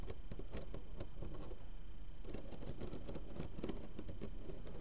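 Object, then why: Bamboo slat mat. Long pink nails on both hands rapidly scratch and tap along the thin slats of a flat bamboo mat bound with black thread. The result is a dense, steady, irregular patter of soft scrapes and quick clicks, mostly low and woody, with some brief bright ticks.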